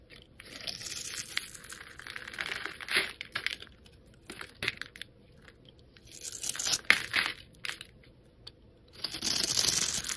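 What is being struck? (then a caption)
Bar of black soap cut with a metal blade. A solid black soap bar held in the fingers is scored and scraped with a metal utility blade, and small cubes crumble off. The sound is a bright, crisp run of scratchy crunching and crumbling in bursts, with sharp clicks between them and a louder burst of scraping at the end.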